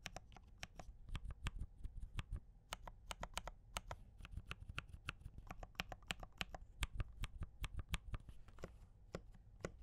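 A compact D84 mechanical keyboard with cream and red plastic keycaps and Gateron brown switches is typed on by the fingertips of both hands. The result is a steady run of short, sharp clicks and clacks with bright tops and a soft low thump beneath, each dying away almost at once.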